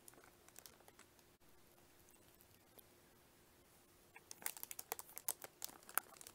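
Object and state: Cellophane-wrapped plastic lunch case.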